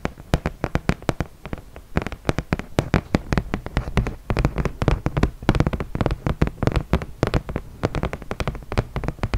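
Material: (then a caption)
Cardboard. A flat, solid cardboard horse-race game board about 30 cm square is held in the hands and tapped and scratched with long nails. Rapid, irregular dull taps come in quick bursts with short, dry decays. Light scratching fills the gaps, and the sound sits mostly in the low range.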